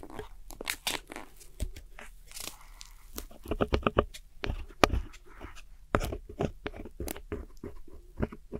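A metal hook tool with a white handle scratches and crumbles the pressed powder in a small square black plastic eyeshadow palette holding four pans, while a finger steadies the palette. About twenty short, dry crunching and scraping bursts are heard close up, each with bright gritty crackle and almost no ring. The powder breaks up into crumbs.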